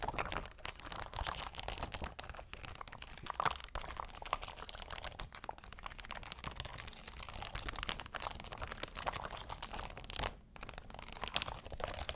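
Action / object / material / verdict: scrape / rhinestone sheet, glass or plastic stones / rhinestones / none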